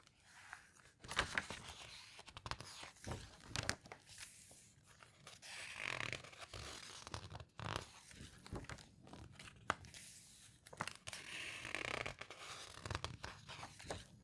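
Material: Glossy paper.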